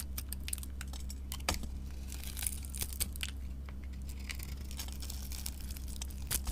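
A utility knife blade scrapes and carves the surface off a solid, glitter-covered, gold-painted Ivory soap bar held in the hand, exposing the white soap underneath. The result is a dense run of sharp, bright scraping clicks and crackles over a steady low hum.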